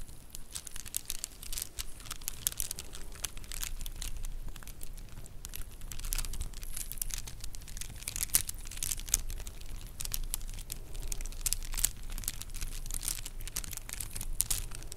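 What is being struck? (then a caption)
Plastic bead bracelet. A stack of faux plastic pearl bracelets is held in both hands above the mic, and the beads are rolled and rubbed with the fingertips and nails. This produces a dense, steady stream of quick, bright clicks over a soft low rumble for the whole clip.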